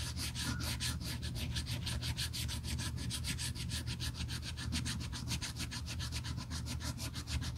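Gloved fingers rub a small piece of red sandpaper along the edge of a black pebbled-leather handle on a Burberry tote, a thin solid strap, in quick back-and-forth sanding strokes. Each stroke makes a bright, dry scratch in a fast, steady rhythm that runs without pause over a low, constant hum.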